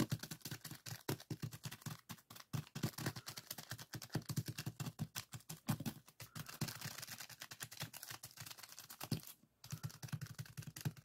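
Fingertips tap and scratch quickly on a small clear plastic zip-lock bag full of purple sand granules resting on a wooden table. The sound is a dense, rapid stream of short, crisp taps with a low thud and bright crinkly scratching. There is a brief pause just before the final stretch.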